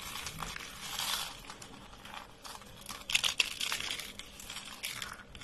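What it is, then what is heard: Dry soap curls crunching. A hand presses thin, brittle, dry beige soap shavings and rolled curls, and fingertips crush a soap sheet. A dense, bright crinkling crunch of many tiny crackles is heard, swelling briefly near the middle with a few sharper snaps. The sound is dry and high, with almost no low end.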